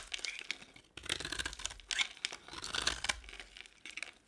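A box-cutter blade scrapes flakes off a solid beige bar of dry soap held in the palm. The result is a run of crisp, bright scratching and crackling with short, sharp bursts, pausing briefly just before the one-second mark before the scraping resumes.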